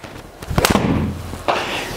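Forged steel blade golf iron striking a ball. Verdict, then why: Solid. A TaylorMade P730 solid forged steel blade 9 iron strikes golf balls, producing sharp, short cracks over a low background rumble. The strikes sound noticeably more solid than those from the hollow P790 head.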